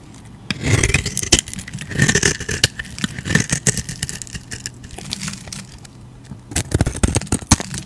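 A utility knife blade scrapes and carves white flakes off a solid, rectangular, white stamped Hacisakir soap bar held in the hand. Dry, crackly scraping comes in bursts, with bright, gritty texture and soft low thumps, separated by quieter stretches.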